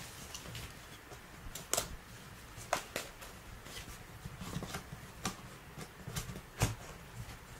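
A small cardboard box of disposable gloves, opened at the top with the gloves visible inside, is held and tapped with fingertips and nails on its sides and front. Soft, irregular taps and light scratchy clicks sound against a quiet low hum, each tap short and dry with almost no ring.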